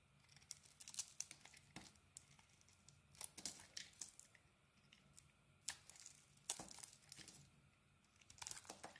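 A small metal blade carves a grey and orange solid bar of soap, peeling off thick curls. Quiet, crisp scraping and crinkling strokes come in bright, short bursts and clusters with brief pauses between. The sound is mostly high and airy, with very little low end.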